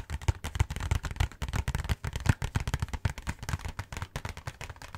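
A cardboard Hanuta snack box held close to the face is tapped and scratched rapidly with fingertips and nails. It makes a dense run of crackling hits with deep, dull thumps and a light papery scratch on top. Each hit stops short with almost no ring.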